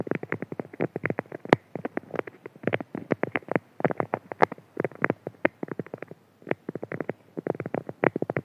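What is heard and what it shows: A flat, printed beeswax-coated cotton food wrap lying on a table is rapidly scratched and rubbed by the fingertips and nails of both hands. Quick, crisp scratching strokes come in dense bursts with short gaps, giving a dry, papery crackle of waxed fabric with mostly low-mid tone and a few brighter snaps.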